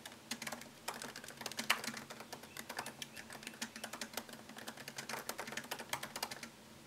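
Fingertips tap quickly across the low-profile plastic keys of a MacBook Pro keyboard set in a thin solid aluminum chassis, producing a steady stream of short, bright clicks with very little ring. A faint low hum runs underneath the rapid typing.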